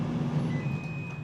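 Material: Nothing is struck.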